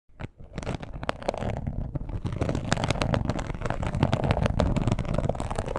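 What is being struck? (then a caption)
Embossed leather wallet. Long pointed acrylic nails tap and scratch the embossed surface of a large, glossy red crocodile-textured leather wallet with a front strap, lying flat. After a quiet start, a dense, irregular stream of soft clicks and rasping scratches builds up, low and muffled, with little high sparkle.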